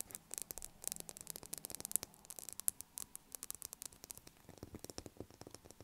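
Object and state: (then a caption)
Bar of soap tapped with fingernails. Long acrylic nails tap rapidly on the top of a solid blue bar of soap lying on a table. The result is a quiet, steady patter of short, dry, bright clicks with a faint scratchy hiss between them.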